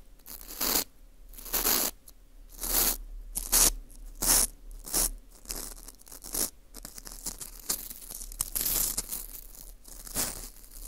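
A teal rubber-tipped earpick scrapes around the hole and rim of a small, hollow ring of dry, porous baked wheat gluten (fu) held in a gloved hand. Bright, crunchy, tearing scrapes come in short, irregular bursts, separated by quiet rustling.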